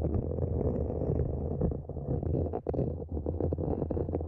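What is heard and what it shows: Long nails scratch the sides of a small, empty, matte black hollow plastic planter pot set upside down over the microphone. The result is a continuous muffled, boomy scraping with a deep low-frequency resonance and almost no high end. Brief dips break up the steady rasping texture.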